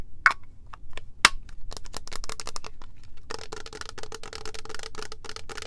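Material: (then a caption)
Plastic. A tall cylindrical clear plastic Rio Rumberry mist bottle, holding purple liquid and topped with a clear plastic cap, is tapped with long nails and fingertips. The result is a quick, irregular run of short, dry clicks and taps with no ring. Two sharp, bright cracks stand out early, and the later taps are denser and carry a faint hollow tone.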